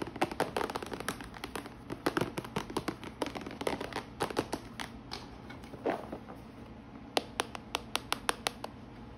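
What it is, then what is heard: Plastic organizer box tapped with nails. Long nails tap on the closed lid and sides of a clear plastic compartment organizer box full of washi tape rolls, lying flat. The result is a quick, irregular run of short, dry plastic clicks that die away almost instantly. Dense bursts come first, then more spaced, sharper taps toward the end.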